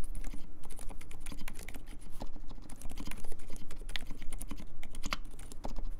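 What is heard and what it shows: Fingertips type at a moderate pace on a compact mechanical keyboard with cream plastic keycaps and silent Dolphin switches. The result is a steady, dense run of soft, muted clacks with short, bright key ticks over a low, thocky body.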